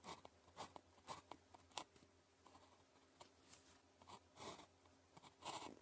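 A blue plastic ballpoint pen, held in the fingers, writes with its tip on a thin grid-printed paper calligraphy practice sheet lying flat on a desk. Quiet, continuous scratching strokes are heard, with short bright bursts of scratch rising and falling between softer stretches over a low steady hum.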